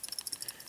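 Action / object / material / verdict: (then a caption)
shake / metal ball tilt switch on a circuit board / metal / none. An assembled LED kit circuit board is shaken to trigger its ball vibration switch, giving a faint, quick rattle of bright, high ticking clicks with almost no low end. Nothing happens on the board in response.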